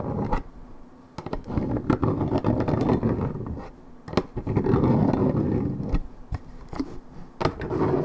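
Long red nails scratch rapidly across the printed surface of a hollow Minute Maid 1.75 L coated paperboard orange juice carton, fill unknown. The result is a dense, dull scraping texture centered in the low-mids, with little high end, broken by sharp clicking taps and brief pauses between bursts of scratching.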